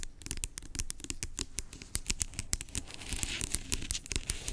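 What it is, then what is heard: Plastic pump bottle tapped and scratched. Long acrylic nails tap and scratch the label of a large, hollow, blue-labelled plastic pump bottle lying on its side. Rapid, crisp clicks with very short ring sit over a low, hollow thump and a bright, papery scratching.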